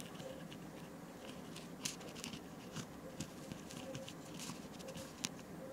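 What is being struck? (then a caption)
Foam nail buffer block. Long nails scratch and rub along the abrasive surface of a solid, white rectangular foam nail buffer block about hand length, held at an angle in one hand. Soft, bright scratchy strokes and sharper scrapes rise over a quiet, steady low hum from a dishwasher running in the background.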